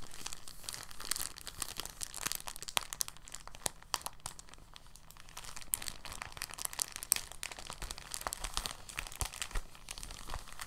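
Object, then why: Thin plastic bag. A large, thin, translucent plastic bag, empty, is gripped and crumpled between fingers, flexing and crinkling the sheet. It makes a soft, continuous stream of bright, crackly crinkles with sharp, dry snaps that die away instantly. The crinkling rises and falls gently in density over about eleven seconds.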